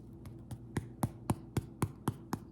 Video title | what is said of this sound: How to make Herb Bread. Hit that 'like' button if you're ready to embark on this aromatic journey. | tap on it sounds Hollow